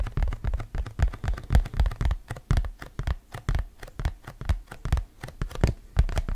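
A round, thin printed cardboard hand fan, a Campbell Camel basketball fan held in both hands, is scratched and tapped with fingernails. The result is a quick, uneven run of dull, low, dry taps with brief scratchy texture between them, each hit dying away almost at once.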